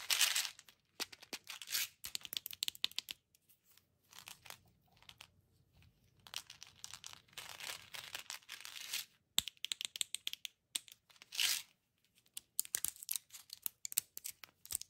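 Long dark-polished nails scratch and peel at a small hollow plastic M&M's Minis tube full of candy, working at its yellow cap seal and plastic label while turning it in the hands. Quick bursts of bright, dry scratching and crinkly peeling come in clusters with short quiet gaps, all thin and high with no low end.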